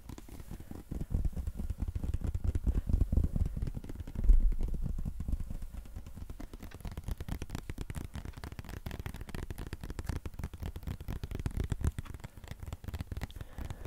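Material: Plastic.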